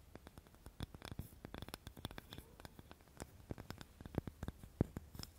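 Long nails scratch a small, light, solid wooden cutting board close to the recorder. Many quick, dry scraping and tapping strokes follow one another, each dying away at once with no ring. The strokes carry a soft low body with faint bright edges.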